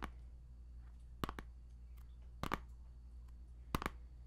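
Fingertips and nails tap and click on the front of a small, hollow plastic CD jewel case for a game soundtrack, still in its cellophane shrink-wrap and held in the hand. Three short, sharp double taps ring out, each dying away almost instantly over a quiet, steady low hum.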